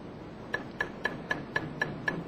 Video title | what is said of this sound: Epoksidna ljepila za građevinu Megapoxy | it sounds solid. It's cement.